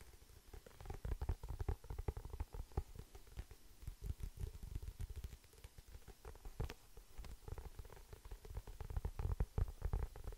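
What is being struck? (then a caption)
Paperback book with glossy card cover. Fingertips and nails tap and scratch the glossy printed card cover of a medium paperback book, held solid and closed in both hands close to the microphone. A dense run of quick, soft, low thumps comes with a faint scratchy rustle; each tap dies away almost instantly. The level rises and falls throughout, with the busiest bursts near the start and the end.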